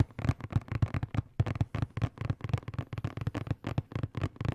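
A hollow, blue and black printed cardboard box is tapped and scratched with fingertips and nails close to the microphone. About eighteen quick, dry taps sound as low, hollow thumps with a faint crackly scratch. Each dies away almost at once.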